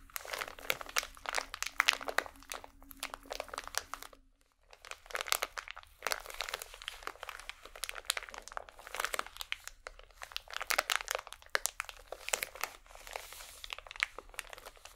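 A full, small rectangular pack of cotton swabs wrapped in thin crinkly plastic film is held in both hands and squeezed and scratched with medium painted nails. It makes dense, bright crinkling and crackling in quick bursts, with a brief pause near the four-second mark before the crinkling resumes.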